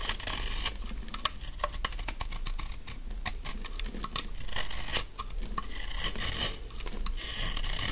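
A large, solid, dry pink bar of soap is held in the hand and scraped with a utility knife blade, peeling off thin shavings. Dense, rapid scratchy rasps and crisp flicks run through the whole clip. A steady low rumble sits underneath, and each stroke has a bright, brittle edge that dies away almost at once.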